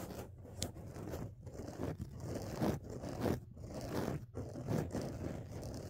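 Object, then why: Foam microphone windscreen. Fingertips and nails scratch and rub two soft, porous black foam windscreen covers over the mic capsules of a dual-microphone phone rig on a tripod. The result is a continuous, muffled, low-heavy scraping and rustling that swells in irregular strokes, with little brightness.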